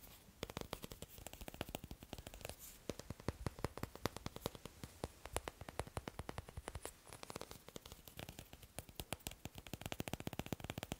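Fingers tap quickly and continuously on wooden blocks, making a dense run of short, dry clicks with no ring and a low knock underneath. The taps come in uneven bursts throughout, with no speech.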